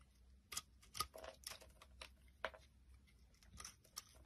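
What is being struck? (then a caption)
Bar soap shaved with a knife blade. A utility knife blade scrapes and shaves the knobbed bumps off a solid, palm-sized, round purple massage soap held in the hand. Short, crisp, bright scraping and crackling strokes come at an irregular pace over a faint low hum, each one fading almost at once.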